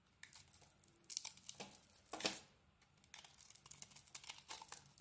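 A solid rectangular bar of soap with a dark glittery coating over a yellow core is held in the hand and scraped and carved with a small metal blade. Quiet, bright, crisp scraping and crinkling bursts come in a rapid series of short strokes, with a few longer, louder shaves near the middle.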